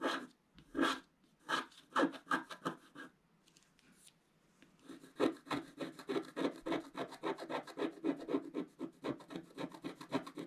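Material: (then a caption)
Waxed paper. A wooden stylus scratches the black coating off a wax-coated scratch-art paper page, held flat by one hand, across the center of the image. A few separate dry, raspy scratching strokes are followed by a quiet pause, then a quick, steady run of short scratches with a bright, papery hiss.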